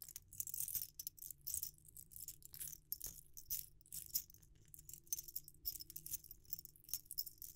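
A hand-held metal ring sizer set, many small chrome-plated rings on a wire hoop, is shaken and jiggled so the rings rattle against each other. Quiet, bright, high jingles come in irregular clustered bursts that die away quickly, over a faint steady low hum.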